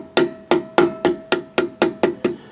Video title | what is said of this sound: RV CAMPER CHECKING WHEEL BEARING - BUDDY CAP GREASING BEARINGS | make sure it's all the way on. Don't hit the threads. You can hear it solid.